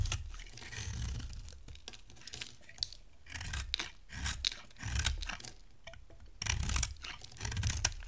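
A hand-sized solid white bar of dry soap with purple-silver coated patches is held in one hand and shaved with a metal box-cutter blade. Repeated dry scraping and carving strokes come in bursts, pairing a low rasp with a bright, crisp crackle as flakes shed from the bar.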